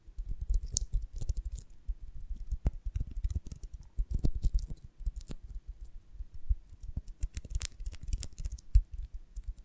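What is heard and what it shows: Long nails tap and scratch the dry cells of an oval beeswax honeycomb on a branch, held from above and below. Dense, rapid clicks and scratchy taps run throughout, mostly low and dull, with occasional bright, crisp crackles. Each tap dies away almost at once.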